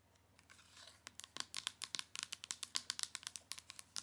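Long nails tap and scratch across the surface of a flat, printed cardboard eyeshadow palette sleeve with gold foil lettering. Quiet, dry, bright clicks and scraping papery crinkles come quickly and unevenly, about two dozen in all. They start as soft scratching, then turn into sharper, closely spaced taps that die away almost at once.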